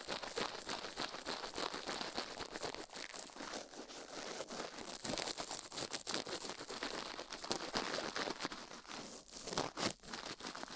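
Toothbrush bristles brush quickly over and into a silicone ear microphone, producing a continuous dense crinkling, scratchy rustle with bright high-end hiss. Rapid short strokes overlap throughout with almost no low end.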